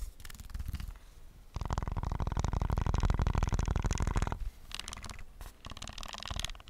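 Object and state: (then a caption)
Plastic game controller tapped. A white and black PS5 DualSense controller with a hollow plastic body is tapped fast and aggressively with fingertips on its shell and buttons. The result is a rapid, dense patter of dull, low clicks and thuds, soft at first, building into a louder, continuous stretch in the middle, then easing back to lighter, scattered taps.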